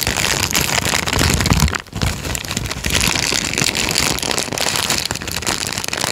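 A thin tan paper sheet is squeezed and crumpled with both hands, then straightened. A dense, bright crinkling and crackling runs almost without pause, dipping briefly just before the two-second mark before resuming at a steady level.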